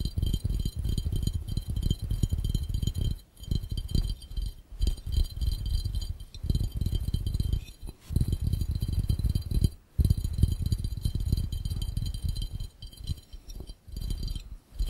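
Both hands tap fast with their fingertips on an empty, hollow, clear round glass fishbowl. The result is a dense, rapid patter of short, dull, low thuds with almost no ringing, faint high glassy tones above it, and brief pauses between bursts.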